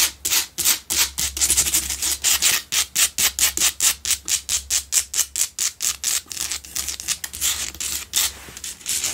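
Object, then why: Salt block candle holder. Long pale-blue nails scratch fast along the sides of a lit pink Himalayan salt block double candle holder made of solid salt. The result is a rapid, slightly uneven run of dozens of short, dry, bright rasping strokes, mostly high hiss with almost no low end.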